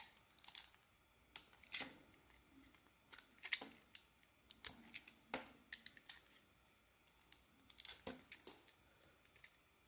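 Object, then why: Bar of soap shaved with a blade. A utility knife shaves curls off a solid, purple-coated oval soap bar with a pale green core, held in the palm. Quiet, crisp, bright scraping and crackling cuts come in short, irregular bursts with little low end, each fading almost at once.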